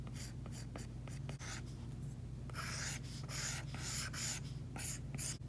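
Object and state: Stylus scraping a matte screen protector.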